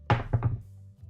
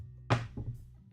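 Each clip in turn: First: heavy metal headband dropped on a table. Second: lightweight wire headband.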